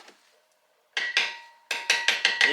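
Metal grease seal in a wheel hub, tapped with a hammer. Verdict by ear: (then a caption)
Seated. A hammer taps a new metal grease seal around its edge into a fifth-wheel RV wheel hub, giving seven bright, sharp metallic taps with a short ring near 1.9 kHz. The clear, solid ring of the taps shows the seal is fully seated flush in the hub.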